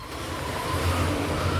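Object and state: Nothing is struck.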